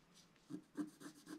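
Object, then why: Coated scratch art card and wooden stylus. A wooden stylus scrapes fill strokes across the lower design of a flat scratch art card of coated black card. Four short, quiet scratching strokes are heard, each a dry, raspy scrape with a low-mid body and a faint bright hiss.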